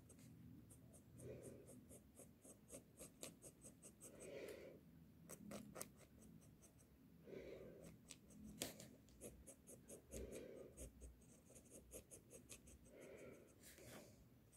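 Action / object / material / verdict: scrape / graphite pencil on a paper sheet / paper / none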